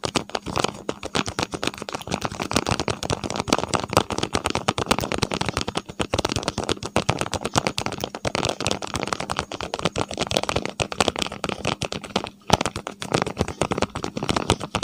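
Fingertips and nails tap and scratch the surfaces of a small, hollow, empty-looking printed paperboard medicine box, white with yellow and blue print, held in both hands right in front of a clip-on microphone. Dense, rapid, dry clicks and scrapes continue almost without a break, with a brief pause near twelve and a half seconds.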